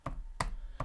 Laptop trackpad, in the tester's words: you have this slight little Gap beneath the trackpad and it's just the sound that annoys me a little bit because it feels cheap